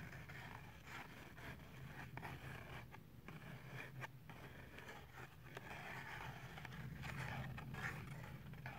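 Fingernails scratch along the plastic edge of a clear plastic blister pack with cardboard backing holding a toothbrush, held upright in one hand. A quiet, continuous scratchy scraping runs throughout, with irregular rasping strokes over a steady low rumble.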